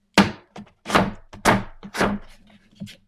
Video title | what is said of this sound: Draw With Me: Blindfolded! | sounds like cardboard almost yeah but it doesn't feel like cardboard